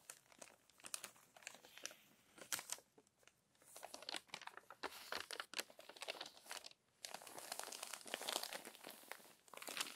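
An open glossy paper magazine with crinkled pages is handled by long nails that turn the pages and press them flat. Dense, bright crinkling and crumpling rustles come in bursts with brief quiet gaps, without any low end.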